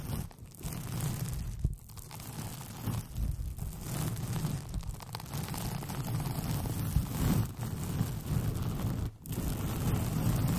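A white paper sheet with pink polka dots, rolled into a hollow, empty tube over the microphone, is scratched with long painted fingernails. The result is a continuous, uneven, muffled scratching and rustling, heavy in low rumble with little brightness, broken by a few brief quiet gaps.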